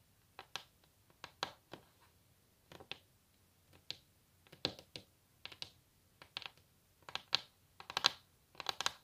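Long natural nails of both hands tap on a solid wooden table top. Quiet, dry, bright clicks come in irregular flurries with no ring, growing slightly louder and denser toward the end.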